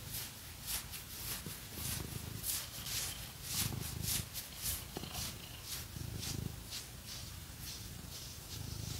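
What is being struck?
Nothing is struck.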